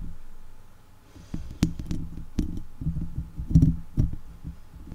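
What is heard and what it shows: Long acrylic leopard-print nails and fingertips scratch and tap directly on a hollow, round woven steel wire mesh microphone grille. Low, close scratching and rumbling is broken by sharp tap clicks that ring briefly with a bright edge.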